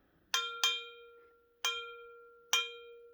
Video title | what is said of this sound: rings like a bell 🔔✨ | it makes a really nice one. Bing! So it rings like a bell now